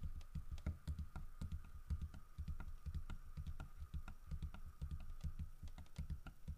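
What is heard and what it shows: Fingertips tap rapidly on the carved side of a large, solid carved wooden bear statue. The result is a quick, uneven patter of dull, low knocks that stop short with no ring, over a faint steady tone.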